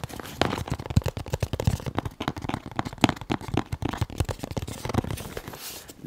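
A closed, medium-size white printed cardboard firearm box, hollow and presumably not empty, is held in both hands close to the mic and tapped and scratched with fingertips and nails. The result is a quick, continuous run of dull, hollow, low-heavy taps and short dry scrapes, with a brief brighter scratching rustle near the end.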